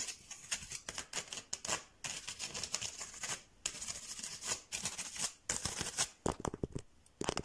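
Fingertips and nails scratch and tap a striped bamboo slat mat, producing dry, bright, crackly scratching in quick bursts. Sharp, short taps that die away almost instantly punctuate it, especially toward the end.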